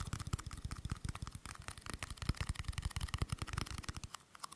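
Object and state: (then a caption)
Aluminium screw-top tin. A small, hollow, round silver aluminium screw-top tin is held in both hands while fingers and nails tap and scratch its lid and rim. The result is a quiet, rapid, irregular run of soft, low, hollow taps with dry, bright clicks and scratchy ticks that stop almost instantly.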